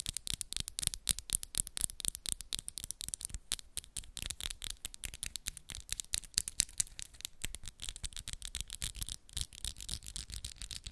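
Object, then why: Acrylic press-on nails. Long, solid coffin-shaped acrylic press-on nails are tapped and clicked against each other with both hands. A fast, dense stream of short, bright clicks with quick decay and faint low thumps continues steadily for about eleven seconds.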